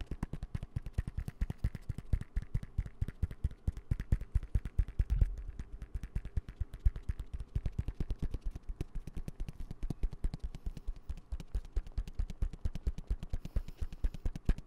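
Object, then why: Fabric zip pencil case. Rapid fingertip and nail tapping on the soft fabric side of a dark green fabric zip pencil case held upright. The dense, uneven stream of short, dull, low thuds with almost no ring runs for about fifteen seconds, with one heavier thump near the five-second mark.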